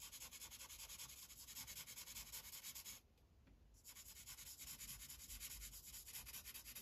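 A green Sharpie felt tip is rubbed in coloring strokes across a thin white coloring page resting on a plastic clipboard. It makes a quick, steady run of bright, scratchy rubbing strokes with a faint low rumble beneath. The strokes break off briefly near the middle and then resume at the same pace.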